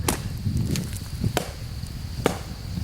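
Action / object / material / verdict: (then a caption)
knock / oak tree trunk base / wood / hollow. Four knocks on the base of a dead white oak trunk, its bark riddled with insect holes and fungus, give short, dull, low thuds that die away almost at once. The base sounds hollow, and the tree is felled afterwards.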